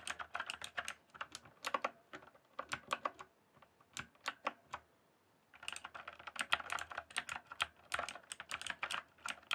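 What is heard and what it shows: Fingertips type on a green-backlit mechanical keyboard with plastic keycaps, producing quick bursts of sharp, bright clacks. Each keystroke is short with almost no ring, and the typing pauses briefly around the middle before resuming in a dense run.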